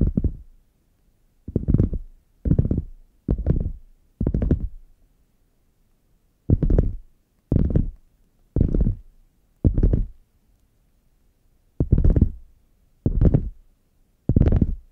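Fingernails scratch and tap the padded top edge of a red faux leather hard zip case lying flat, closed and hollow. Twelve short, separate bursts of muffled, low, rumbling scratching are each followed by a quick fade into silence. The sound is dull and bass-heavy, centered around 86 Hz, with very little brightness.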